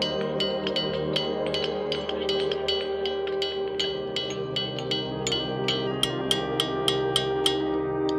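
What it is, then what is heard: Ringing boulder. Boulders in the rock field at Ringing Rocks County Park, Pennsylvania, are struck in a rapid, uneven series, each hit giving a bright, bell-like ring that fades within about a second, over steady sustained musical tones. Only about a third of these rocks ring audibly, and they lose their musical ability once taken away from the other stones.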